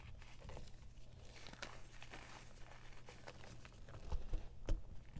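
Bare hands scoop, squeeze and crumble a heap of pale green-tinted gym chalk (magnesium carbonate) on a board, working the dry solid pieces and powder. Soft, dry crumbling and crinkly crunching runs steadily over a low rumble, with a few sharper, louder crunches toward the end.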